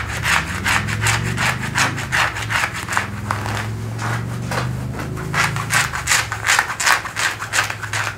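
Fingertips and nails scratch and rub worn blue denim jeans, thick cotton twill fabric, over the thigh and back pocket area. Quick, fairly regular strokes, about 162 per minute, make bright, dry scratchy swishes. A steady low hum runs underneath.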